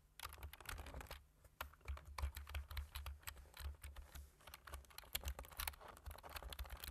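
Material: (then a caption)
Plastic. Fingertips type rapidly on the keys of a black plastic computer keyboard with a white frame. The result is a dense run of short, bright clicks over low, soft thumps, with a brief lull just after the first second before the typing resumes.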